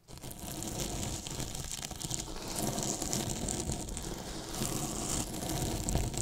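Two paintbrushes brush and scratch along the top edge of a large, white, hollow polyethylene foam box with a microphone inside it. The result is a steady, dense, hollow-sounding rustle with a deep, boomy low end and a bright, hissy scratching texture, swelling slightly at times over about six seconds.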